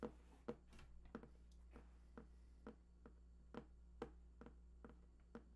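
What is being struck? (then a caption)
Large printed cardboard box. Fingertips tap near the right edge of a large, hollow, printed cardboard PlayStation 4 box whose contents are unknown. The result is a loose, unevenly spaced series of soft, dull, short taps with a hollow midrange knock, set over a steady low hum.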